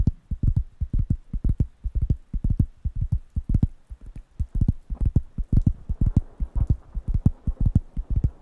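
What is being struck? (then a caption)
Thin round wooden coaster pad. Fingertips quickly tap the solid, flat surface of a large, thin, round, light-brown wooden coaster pad held in one hand near the microphones. The result is a rapid, somewhat uneven run of dull, low, deep-toned thuds that stop almost instantly, with barely any bright content.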